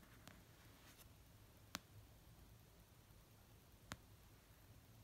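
Fingertips and painted nails slowly tap an orange paperback novel of solid paper resting on a soft blanket. Three short, dry, sharp taps are spaced well apart and die out at once over a quiet background with a low hum.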